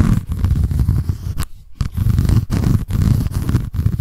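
Long nails scratch the white embossed cardboard cover and the page edge of a paper notebook. The result is a dense, rough, low-heavy scraping in rapid strokes, broken by a brief pause partway through and a few short dips.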